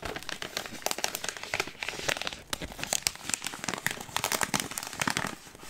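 A full green Smartfood plastic popcorn bag, clipped shut, is crinkled and rubbed with fingertips and nails. The result is dense, bright, steady crinkling with quick, sharp crackles that die away almost at once, with very little low end.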